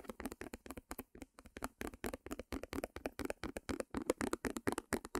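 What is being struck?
Small stretched canvas on a wooden frame.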